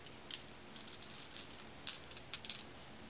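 A pile of small, solid, dark, glossy glass marbles is held in the palm, then shaken between cupped hands with long red nails. It makes a quiet rattle of sharp, bright clicks that die away almost instantly, scattered irregularly over a faint background hiss.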